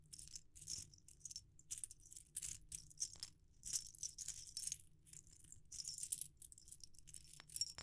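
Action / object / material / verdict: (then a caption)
shake / set of metal ring sizers on a wire hoop / metal / none. A metal ring sizer set, its rings strung on a wire hoop, is shaken between the fingers so the rings jingle together. The result is soft, bright, high-pitched metallic jingling in irregular bursts with very short decay, over a faint low rumble.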